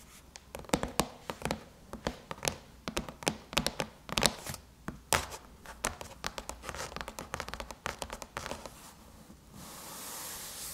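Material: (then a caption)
Aluminum. Long chrome-painted nails tap rapidly and irregularly on a closed silver aluminum MacBook lid. The clicks are sharp and dry, with bright, quick-decaying ticks and some light scratching between them. Near the end the tapping stops and a soft, steady hiss rises.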